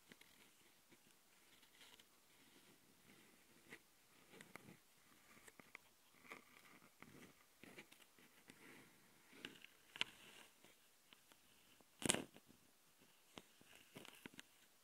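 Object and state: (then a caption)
Recorder microphone grille tapped and scratched with fingernails. Long dark fingernails on one hand tap and scratch the right microphone capsule of a small Tascam handheld recorder, a metal mesh grille on a plastic body. Close, quiet, bright scratchy rustles and soft clicky taps come at an irregular pace. Sharper, louder ticks stand out around 10 and 12 seconds.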